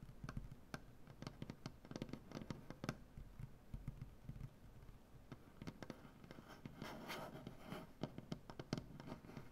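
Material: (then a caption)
Wood. Fingernails tap and scratch across a large, solid wooden butcher-block tabletop, first with the hands flat and then curled. It makes a quiet, steady stream of short, dry clicks and scratches with a low, woody body and almost no ring, with a brighter, busier flurry of scratching near the end.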